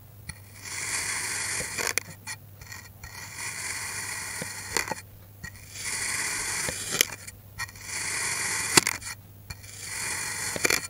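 A steel knife cuts and scrapes through a solid green kinetic sand block that is already partly sliced. Five long, bright, gritty scraping strokes can be heard, separated by short pauses with small sharp ticks. A faint steady low hum sits underneath.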